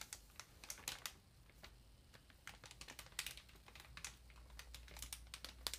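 Long nails on both hands tap the plastic wrap of a large, solid paper ream. The result is a quiet, uneven run of short, bright, clicky taps with a light crinkle, each dying away almost at once, over a faint, steady low hum.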